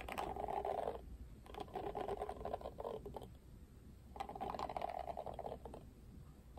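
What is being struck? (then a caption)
Plastic paddle hairbrush bristles. Fingertips scratch and flick the plastic bristles of a plastic paddle hairbrush held upright with its bristle side facing the camera. The result is quick, dry, pattering ticks in three bursts with short pauses between them, centred in a mid-range band.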